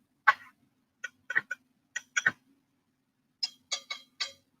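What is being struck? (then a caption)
Faceted clip-on earrings. Sparkly faceted black clip-on earrings are tapped together, giving 11 short, bright clicks in irregular clusters with almost no ring. The earrings feel cold and sound like glass, so they are judged to be glass.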